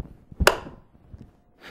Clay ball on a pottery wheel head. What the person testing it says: we've got to make sure it's stuck and it makes a very unique sound